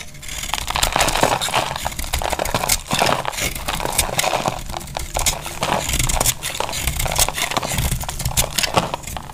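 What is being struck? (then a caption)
Laundry soap bar scraped with a knife blade. A solid, rectangular tan-brown bar of dry laundry soap is held in the hand and scraped with a utility knife blade, so chunky, crumbly pieces break off. A steady run of dry, bright scraping and crackling crunches carries on throughout, with louder crumbly bursts popping up along the way over a faint low rumble.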